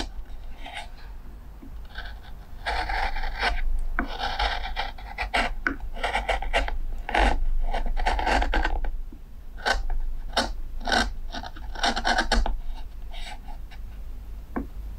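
A steel carving knife shaves and scrapes the curved rim of a pale, solid wooden plate held by fingertips against a workbench. Short rasping strokes come in irregular bursts, some dry and gritty and others brighter and more hissing, over a steady low hum.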